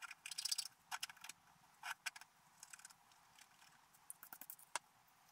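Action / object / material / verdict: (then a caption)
scrape / black-coated scratch art paper scratched with a wooden stylus / coated paper / none. A wooden stylus scratches details into a flat, black-coated scratch art paper page. Quiet, bright, dry scratching comes in short bursts of rapid strokes, with a few sharp ticks between them and no low end.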